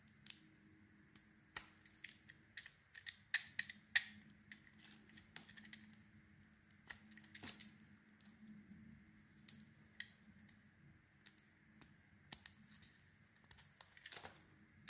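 A metal blade carves slices off a solid, egg-shaped pale green soap bar with a cream core and green glitter, held in the hand. Quiet, crisp scraping cuts and sharp bright clicks come at an irregular pace over a faint steady background hum.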